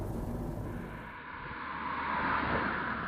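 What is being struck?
Nothing is struck.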